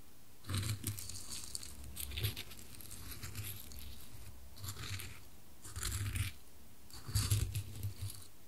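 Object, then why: Wooden cube and wooden coasters. A small solid dark-wood cube, held by a white-gloved finger, is tipped, rolled and knocked against two square light-wood coasters set side by side, moving between them. Soft wood-on-wood taps, knocks and rolling scrapes come in several separate bursts with a low thud and a bright clicking edge. Quiet pauses fall between the bursts.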